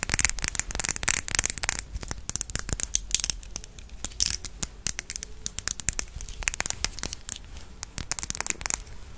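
A full red glass perfume bottle with a gold cap is held in the hand and tapped and scratched with long nails. Many quick, bright clicks and sharp taps mix with dry scratching, and there is a faint high ringing and a soft low undertone.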